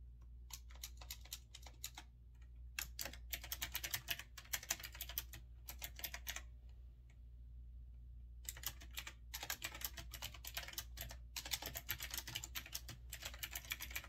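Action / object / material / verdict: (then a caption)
tap / mechanical keyboard with round keycaps / unknown / none. Fingertips with short red-painted nails type rapidly on a small desktop retro typewriter-style mechanical keyboard with a grey metal-look body, round chrome-rimmed backlit keycaps and a rotary knob on the left. Quick bursts of bright, sharp clicky keystrokes with very short decay come in runs, broken by brief pauses near two seconds and a longer lull around seven to eight seconds. A steady low hum runs underneath throughout.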